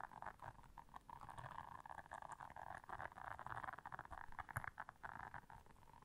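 Long nails scratch the bristles of a blue silicone bristle scrubber pad while hands squeeze the pad. A quiet, continuous scratchy rustle sits in the midrange, with rapid small scrapes and soft squishing pulses over a faint low rumble.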